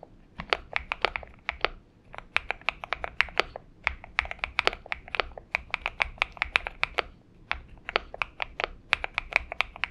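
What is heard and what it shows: A purple Xinmeng M71 70% mechanical keyboard with PBT keycaps, lubed switches and a tape-modded case sits on a desk mat and is typed on steadily with the fingertips of both hands. The result is a rapid run of short, crisp, bright keystroke clacks with little bass and no ring, broken by brief pauses near 2 and 7.5 seconds.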